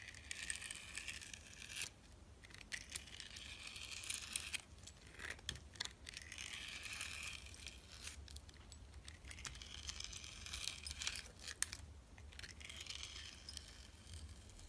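A metal utility blade cuts and shaves a solid bar of soap with a purple glitter coating and an orange interior. Long bursts of bright, crisp scraping and crackling are broken by short pauses, over a faint steady low hum.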